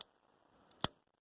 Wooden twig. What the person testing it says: That's a good way to know that they are nice and dry